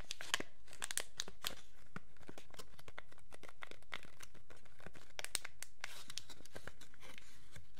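A small, thin, transparent wrapper of clear plastic packaging film is held in both hands while the fingertips crumple and crinkle it. Dense, rapid crackles and sharp snaps follow one another over a quiet background, bright and crisp.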